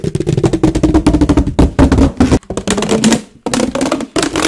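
A large, hollow, empty ribbed white plastic flexible duct hose is compressed and tapped with the fingers right next to the mic. It produces a rapid run of dull, hollow taps with a low, resonant body and a slight tonal ring that fades almost instantly. The tapping pauses briefly twice before continuing.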